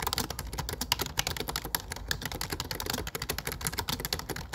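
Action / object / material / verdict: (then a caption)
tap / plastic computer keyboard / plastic / none. Fingertips type steadily on a low-profile plastic computer keyboard with dark plastic keycaps. The result is a rapid, dense stream of short, bright plastic clicks and taps with a soft low thump beneath them and no ring.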